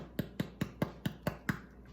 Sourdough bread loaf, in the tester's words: when you tap the bottom, has that hollow sound